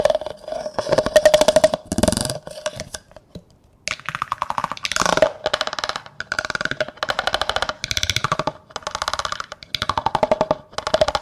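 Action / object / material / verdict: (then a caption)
scrape / plastic cup scraped and tapped with a plastic comb / plastic / none. A large, hollow, empty clear plastic cup is scraped and tapped with a yellow plastic comb, its teeth raking along the cup's side. Rapid bursts of dry, clicking ticks ring briefly at a hollow mid-pitched tone, separated by short pauses and one longer gap of near silence.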